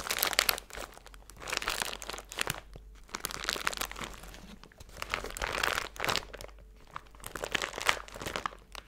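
A small clear plastic zip-top bag full of silver glitter or foil bits is held in both hands and crinkled and squeezed between fingers with long blue nails. Bright, crackly crinkling comes in dense bursts that swell and fade over several seconds, with quieter rustling between them and little low-end body.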